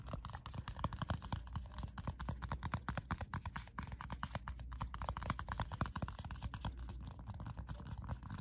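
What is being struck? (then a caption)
Paper sticky-note pad. Fingertips and nails tap and scratch the surface of a small square pad of pink paper sticky notes held up in the air. A fast, steady stream of short, dull, muffled taps mixes with light papery scratching. Each tap dies away almost instantly.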